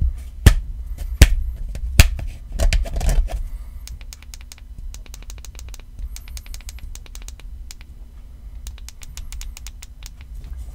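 Fingertips and nails tap quickly on the back and sides of a black, rubbery iPhone XR case with red buttons and a fabric card pocket. A few sharper, louder knocks come in the first seconds, then a long run of fast, soft, bright clicks that stop dead. Throughout, a steady low hum sits underneath.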